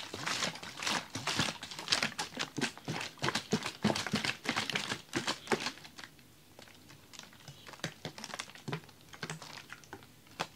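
A large clear ribbed plastic water bottle holding frozen slush is held by the fingers and shaken. Rapid, irregular bright clicks and crinkly crackles rattle through the clip, loud for the first six seconds, then quieter and sparser toward the end.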